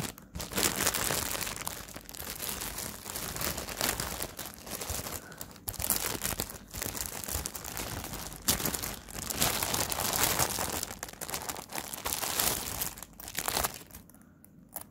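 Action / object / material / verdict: scrape / thin plastic film bag over a fabric pouch / plastic film / none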